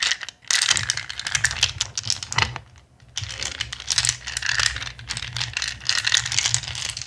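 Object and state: Handful of acrylic gems shaken.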